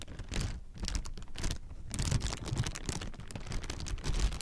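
A clear plastic air-pillow packing strip, inflated and partly deflated, hollow and light, is held in the hands and squeezed and crinkled with the fingers. Dense, rapid crackling and rustling comes in uneven bursts with brief quieter gaps, its crisp bright edges sitting over a soft low rumble.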